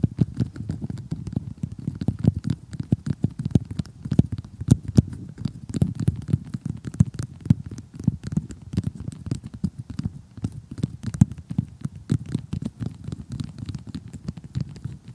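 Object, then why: Cardboard jigsaw puzzle. Long glittery glass-effect fingernails tap and scratch an assembled cardboard jigsaw puzzle of solid thin pieces, with a glossy printed cartoon picture, lying flat on a surface in extreme close-up. A steady stream of rapid, dry, dull taps mixes with soft scratching. The sound is muffled and low, with no ring after each tap.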